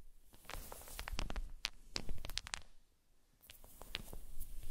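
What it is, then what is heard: Wooden balls clacking. Small solid unfinished wooden balls on a fluffy blanket are gathered and rolled by hands with long nails. The balls clack against each other in bright, sharp clicks over a soft, low rustle. The clicking pauses briefly before resuming.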